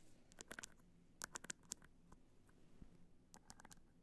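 Long nails scratch the top and front of a hollow black hard-shell clutch covered in multicolor rhinestones, resting on white fur. Quick, dry, bright ticks and scratches come in bursts over a faint steady hiss, with no ringing after each stroke.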